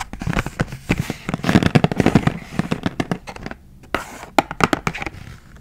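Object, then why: Clear plastic blister pack of markers on cardboard backing. Long acrylic nails tap and scratch across the clear plastic blister of a hand-sized Expo 8-marker retail pack of dry erase markers, the blister sitting over a cardboard backing and the pack full of markers. The result is a rapid run of sharp, crackly plastic clicks and scrapes, with a busy scratching stretch in the middle and brief quieter gaps between bursts.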